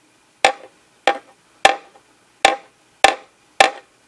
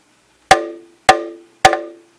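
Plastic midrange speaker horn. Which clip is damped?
The first.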